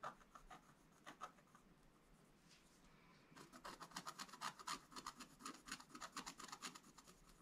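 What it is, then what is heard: Scratch-art card being scratched. A wooden stylus scratches across a flat, black-coated scratch-art page near the bottom. A few separate dry scratches come first, then a quiet pause. From about three seconds in, quick rhythmic strokes follow closely, each a short bright rasp centred around 1.2 kHz.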